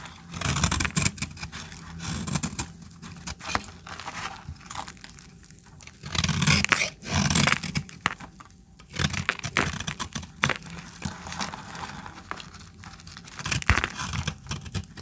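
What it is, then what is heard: Dry soap bar being cut. A metal blade cuts and scrapes flakes off a small, dried orange soap bar held in the hand. Irregular bursts of dry, crunchy scraping with bright, crackly texture rise and fall over a low rumble.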